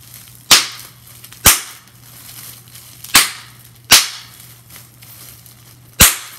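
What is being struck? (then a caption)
Plastic bubble wrap. A crumpled sheet of clear plastic bubble wrap with air-filled bubbles is held in both hands while long nails and fingertips squeeze and pop the bubbles. Five sharp, bright pops ring out at irregular intervals, each decaying quickly. Between them are soft plastic crinkles over a faint low hum.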